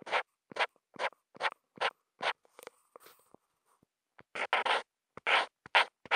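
The felt tip of a Posca marker, picked up by a contact mic on the marker, is drawn in long, continuous, meandering lines across a flat sheet of white Kent paper. It makes a run of short, bright, scratchy strokes. The strokes come in an even rhythm at first, go quiet with a few faint scrapes partway through, then return in a denser, louder cluster.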